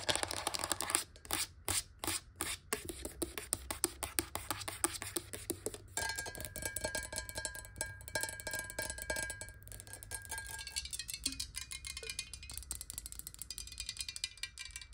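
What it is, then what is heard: Glass water bottle. A clear square glass water bottle stands upright on a table and is tapped quickly with long nails from both sides at close range. The result is a dense stream of rapid, bright, clicky taps with very short decay; partway through, a faint glassy ring sustains beneath the tapping.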